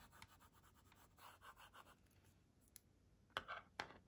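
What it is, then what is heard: Plastic LCD writing tablet. A pink plastic stylus tip, held by a hand with long nails, scratches and writes across the screen of a kids' LCD writing tablet with a plastic frame. Soft, quick, scratchy strokes rise and fall for about two seconds. Then a few sharp, bright taps stand out near the end.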